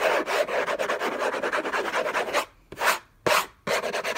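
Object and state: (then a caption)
Cardboard box being scratched. Fingertips and nails scratch and rub hard across a hollow, rigid cardboard box covered in orange textured paper. A fast, irregular run of raspy, bright scratching strokes breaks off into near silence, two separate swipes follow, and then the rapid scratching resumes.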